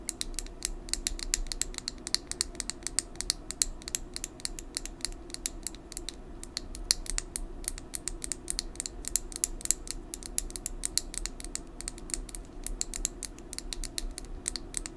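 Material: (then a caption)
Plastic. Long nails tap rapidly on a small hand-held plastic lip gloss tube with a red body and metallic cap, hollow and filled with gloss. The taps are dense, sharp, dry clicks with bright high-frequency ticks that stop almost instantly, continuing at an uneven pace for the whole clip over a steady low background hum.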